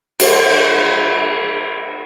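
A cracked, broken metal cymbal is struck once with a wooden spoon. It gives a bright, washy metallic crash with no low end that rings on and fades slowly over about two seconds.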